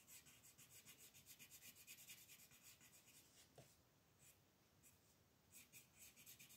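A wooden colored pencil rubs and scratches color onto a cartoon eye on a flat paper coloring page, which lies on a wooden table and is held down by one hand with long painted nails. Quiet, bright, papery scratching comes in quick back-and-forth strokes, eases into softer rubbing midway with a brief tap, then picks up again into rapid strokes.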